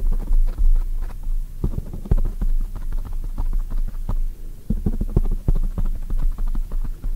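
Long white nails quickly tap and scratch a black foam microphone cover from both sides. The result is rapid, irregular, muffled thumps and a deep rumbling, almost all low in pitch, with soft scratchy clicks and no bright edge.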